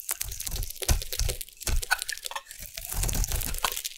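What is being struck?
Bar of soap cut with a metal blade.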